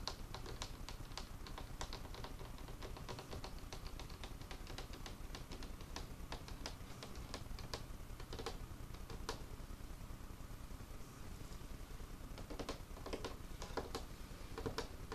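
Fingertips tap quickly across the surface of an old, solid, dark, worn wooden craft table with paint spots. The result is a steady stream of short, dry, irregular clicks and knocks over a constant low hum.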